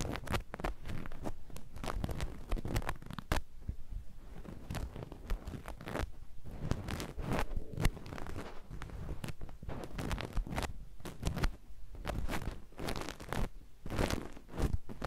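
A hand-sized grey ruffled nylon mesh bath loofah, soft and airy, is held in both hands and scrunched and scratched with long painted fingernails and fingertips. It makes a steady crinkly rustle of quick, dense scratchy bursts over about fifteen seconds, heavy in the low end with bright crackly streaks.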